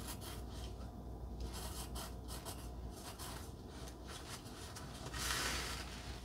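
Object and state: Pencil scratching on a cardstock heart.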